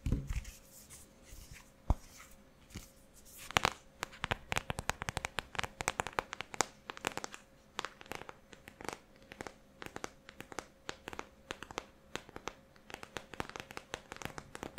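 A closed, flat rectangular cardboard "Take Me Back to Brazil" eyeshadow palette with a printed glossy surface is held upright in both hands and tapped and scratched with long painted nails. It produces quick, dry, crisp clicks and scraping scratches that start sparse, then come in a dense, irregular patter, over a faint steady low hum.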